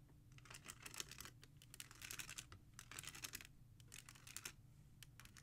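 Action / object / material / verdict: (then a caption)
scrape / plastic CD jewel cases in a rack / plastic / none. Long nails tap and scratch across the top spines of a row of plastic CD jewel cases in a black holder. Rapid, bright clicks and scratchy rasps come in quick bursts over a faint low hum.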